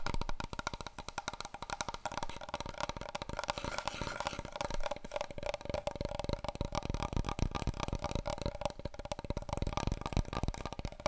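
Fingertips and long nails rapidly tap along a long, hollow, empty brown cardboard paper roll tube held horizontally. The taps come as a fast, dense stream of short, dry knocks with a hollow resonant tone near 900 Hz, steady in level throughout.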